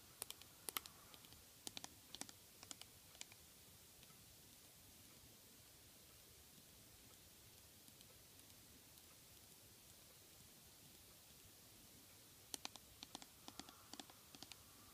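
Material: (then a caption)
Aluminum. An aluminum hair or cosmetic spray can with a printed cat label, a hollow metal can held in the hand, is tapped with long fingernails. Bursts of quick, bright, dry clicks with almost no ring come in the first few seconds and again near the end, with near silence in between.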